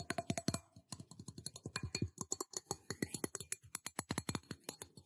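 A metal cup is tapped for ASMR in a rapid, uneven series of about 34 short, dry taps. Each tap has a low thump and a bright click and dies away almost at once.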